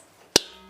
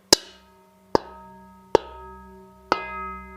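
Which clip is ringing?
The second.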